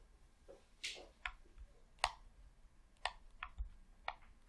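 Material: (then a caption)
Plastic. Fingertips with short painted nails press the buttons and thumbsticks of a hollow red plastic Xbox controller held in both hands over a tablecloth. Six quiet, sharp clicks come at an irregular pace, each snapping off almost instantly with a bright, hollow tick.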